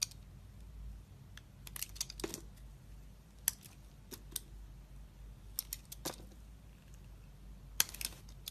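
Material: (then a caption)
Glycerin soap. A metal utility blade scrapes and slices thin layers off a solid, translucent pink glycerin soap bar, palm-sized and held in hand. Quiet, bright scraping strokes are broken by short, crisp cuts that snap sharply and end almost at once, over a low steady hum.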